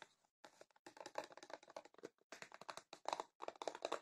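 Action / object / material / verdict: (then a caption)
tap / cardboard tea box / cardboard / none. Long painted fingernails tap rapidly on a rectangular printed cardboard tea box that is hollow with tea bags inside and held in the hands. The result is quiet, dry, clicky tapping in quick bursts with short pauses between them. The tone is hollow and centred in the midrange, with almost no low end and each tap dying away almost instantly.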